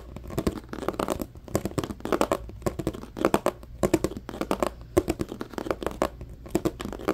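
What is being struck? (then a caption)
Clear plastic compartment box. A medium-sized, hollow, empty transparent plastic compartment organizer box is scratched and tapped with fingertips and nails. It produces a rapid, uneven run of short, dry taps and scratchy clicks with a hollow mid-range body and almost no ring. Quieter rustling scratches fill the gaps between bursts.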